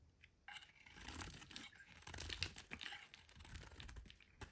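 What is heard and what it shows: A solid pink bar of soap, held in the hand, is repeatedly scraped and carved with a metal utility blade, and the shavings fall onto a white surface. After a brief quiet start, a steady run of dry, crisp scraping and crunching strokes begins, bright and close-up, with a soft low rumble underneath.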